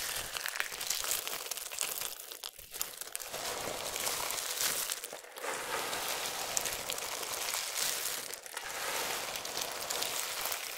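Hands grab, press and crush handfuls of a pile of small, solid, dry multicolored soap shavings, then fingertips rub the surface. A dense, bright crinkling crunch runs continuously with brief dips, with almost no low end.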